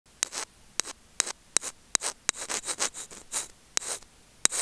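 Curved steel tweezer tips scratch and rub the small, hollow, white plastic in-line remote and mic of Apple earphones, itself the recording mic, held in fingers over grey felt. Sharp, bright ticks alternate with short, hissy scraping strokes, almost entirely high-pitched with no low end.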